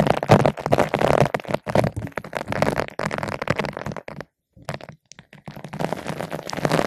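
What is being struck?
Foam microphone windscreen rubbed with a nylon bottle brush.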